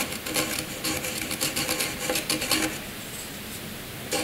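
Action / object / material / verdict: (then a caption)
scrape / graphite pencil on a paper sheet / paper, graphite / none. A hand-held graphite pencil scratches across a sheet of white paper, scribbling loops and strokes. Bright, dry scratching bursts in quick uneven strokes, then fades to a faint hiss before one last short scratch.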